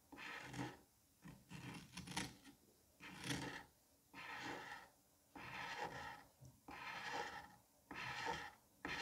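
A metal curette scrapes across the surface of a palm-sized solid dome of green kinetic sand. It makes a series of separate gritty, rasping scrapes with bright, hissy texture, each stroke rising and fading before a brief pause.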